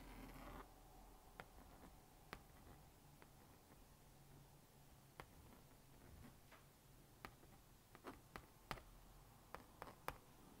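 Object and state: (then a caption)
Plastic magnetic drawing board. A plastic magnetic stylus scratches and dots lines onto the honeycomb screen of a small blue-and-pink plastic magnetic drawing board while drawing a rabbit. Soft, quiet scratching runs underneath about 11 sharp, bright plastic ticks, each dying away almost instantly.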